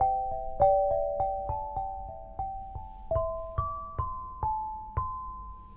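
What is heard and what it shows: An eight-bar lithophone of solid black granite slabs on a low frame, tuned to 432 Hz, is struck with two soft-headed mallets with red and green balls on wooden sticks. A quick melody of clear, bell-like ringing tones rises in pitch, each note sustaining for about a second and overlapping the next.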